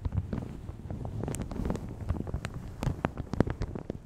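Long red nails scratch and crinkle a light blue plastic shower cap stretched over a large hollow microphone. The result is a steady stream of soft, dense crinkles and crackles with a muffled low rumble underneath, scattered with brief brighter ticks.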